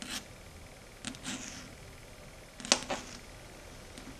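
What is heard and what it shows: Long red stiletto nail tips tap and click on a flat, matte, dark grey chalkboard, making six short, dry, bright clicks spread unevenly over a quiet background. The sharpest and loudest tap comes near the middle, followed closely by a softer one.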